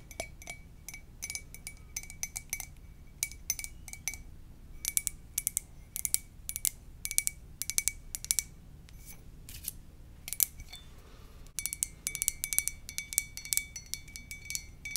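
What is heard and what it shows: An empty, hollow white ceramic coffee mug with a lips print, held in both hands, is tapped with long dark nails. Rapid, bright clicky taps come in bursts and short runs with pauses between. Each tap carries a faint ceramic ping near 2.3 kHz that dies almost instantly over a quiet low rumble.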